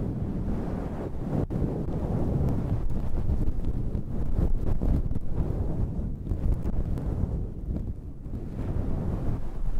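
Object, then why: Synthetic fur microphone windscreen. Long red-painted nails scratch and rub the top of a soft, hollow, dark grey faux-fur windscreen fitted over a microphone. The result is a steady, muffled, low rumbling rustle, much like wind buffeting a microphone, with almost nothing bright or high in it.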